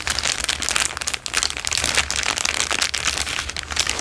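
A thin, clear plastic bag is crinkled in the hand, then laid flat on a fabric surface and pressed and rubbed with the fingertips. The result is a dense, steady stream of bright, crackly crinkling with brief dips in loudness, over a faint low hum.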